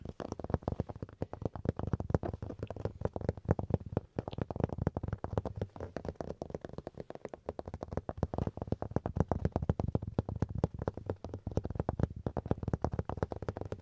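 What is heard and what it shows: A wooden chopping board is tapped and scratched quickly and continuously with dense, rapid strokes. The sound is dull and low-heavy with no ring, a soft, muffled patter that stays steady throughout.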